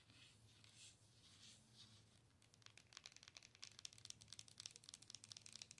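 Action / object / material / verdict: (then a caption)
tap / plastic owl-shaped night light / plastic / none. Long pointed nails tap the side and front of a hollow, light-up plastic owl night light held by its base. Soft, airy rustling gives way after about two seconds to a rapid run of sharp, bright, clicky taps with almost no ring.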